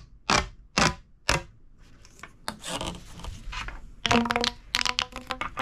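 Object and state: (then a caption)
Plastic pop tube toy. A hollow, purple corrugated plastic pop tube toy is extended and then crunched in the hand with the fingertips. Three sharp, bright pops ring out first, followed by a stretch of soft crinkling rustle. Then come dense bursts of clicking crunches, some carrying a brief hollow, whistling tone.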